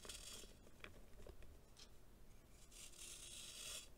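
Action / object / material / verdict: scrape / packed baking soda chunk scraped with a knife / baking soda / none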